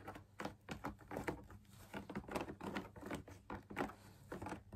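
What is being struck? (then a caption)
Perforated fabric lamp shade on stiff backing. Fingertips and nails tap the top edge and outer wall of a hollow drum lamp shade made of fabric laminated on a stiff perforated backing with a wire frame. The result is a quick, irregular patter of soft, muffled taps that die away almost instantly, mostly low and mid tones over a faint steady low hum.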